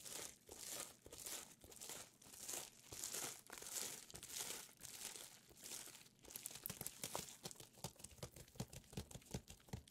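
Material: Plastic.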